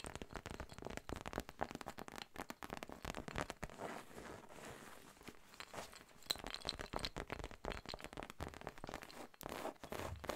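Long nails scratch and tap the textured surface of a soft, hollow cream fabric zip cosmetic pouch with a pink monogram, held up close. Dense, crinkly scratching mixes with rapid short taps, with a brief smoother rustling stretch in the middle. The sound is quiet and bright-edged.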